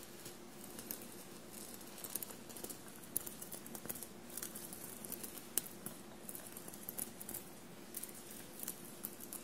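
Long blue-painted nails softly scratch a bunched navy cotton shirt covered in small silver paillettes. The result is a quiet, continuous scratchy patter broken by bright, crisp little clicks and ticks as the sequins catch, over a faint steady low hum.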